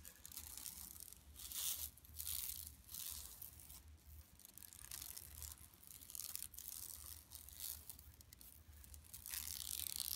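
Long nails scratch with both hands across a flat, empty yellow woven plastic mesh tote bag lying on carpet. The sound is quiet, dry and bright, a continuous rasping scrape that swells and fades in short overlapping strokes, with a faint steady low hum underneath.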